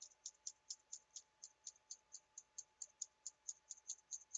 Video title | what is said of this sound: lofi asmr - exploring my spice rack (soft spoken, tapping sounds, shaking sounds) | this one should make some good shaking sounds